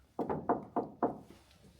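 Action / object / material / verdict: knock / prop shield, plastic / plastic / fake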